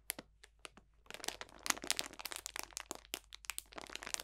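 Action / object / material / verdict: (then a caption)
scrape / cellophane bag of dried potpourri / cellophane, dried plant / none. A clear cellophane bag full of dried potpourri botanicals is squeezed and crunched with both hands. A few sharp, separate crackles open the clip, then the crinkling turns dense and continuous with bright, crisp crunches. Each snap stops almost instantly, with very little low end.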